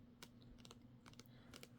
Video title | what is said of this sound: ASMR Book Tapping & Page Flipping - Soft Spoken, Lo-Fi, Page Flipping, Old School | kind of a contrast between the book and the spine. It's like a lighter, higher pitch here.